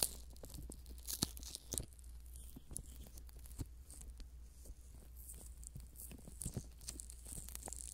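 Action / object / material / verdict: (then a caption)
scrape / silicone ear model / silicone / none. A pair of soft silicone ear models on a binaural microphone, greased with Vaseline, are rubbed and pressed by thumbs and fingertips while the ears are folded and pulled. Irregular moist, sticky crackles and squelches sit over a steady low hum and a faint bright hiss.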